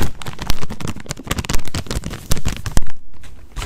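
The upper part of a large, open-topped plastic snack bag with corn rings inside is crinkled and folded by the fingers. This makes a dense, close, bass-heavy stream of crackles and crinkles, broken by a few louder sharp crunches. There is a brief quieter lull near the end before the crinkling picks up again.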